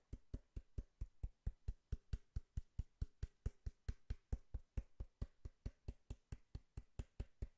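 A cardboard box is knocked and tapped in a steady rhythm, about 34 quick hits at a little over two per second. Each tap is a short, dull, low thud with almost no ring, sitting mostly in the deep bass with a faint brighter click on top.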